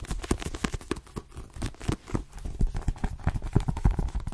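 A dark paperback copy of "The Twin" with a glossy card cover, solid and held in both hands, is tapped quickly by long nails on its cover and edges. The result is a rapid, irregular stream of short, dull taps that die away almost instantly and carry mostly low tones.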